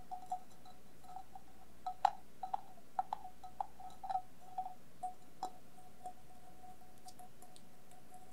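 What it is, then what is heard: Stainless steel bowl tapped with nails. A hollow, empty stainless steel bowl covered in coloured tape, glitter and rhinestones is held upside down and tapped and scratched with long nails. Light, scattered taps each give a brief metallic ping with a steady ringing tone near 780 Hz, plus faint bright scratchy ticks, all at a quiet level over a low background hum.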